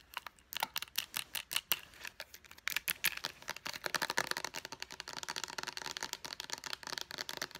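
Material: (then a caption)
Hard plastic. Long painted nails tap fast on a small white Clean & Clear face wash bottle with a purple pump, made of hollow hard plastic. About 34 sharp, bright clicks with almost no low end die away instantly. They come in spaced bursts at first, then turn into a denser, continuous rattle of tapping.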